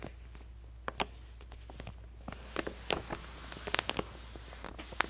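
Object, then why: Glossy paper catalog pages. Long manicured nails squeeze and press the lower page edges of an open glossy paper clothing catalog, its spread held still by both hands. Short, sharp paper crinkles and clicks pop up irregularly, some bright and crisp, over a low steady hum.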